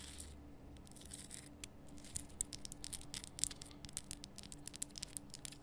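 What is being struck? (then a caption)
Rock salt crystal lamp. Long nails scratch and tap across a large, lit, pink Himalayan salt lamp, a solid rough rock-salt crystal, close up. The result is a quiet run of dry, bright, crackly scrapes and sharp little ticks over a faint steady low hum.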